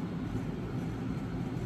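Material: Nothing is struck.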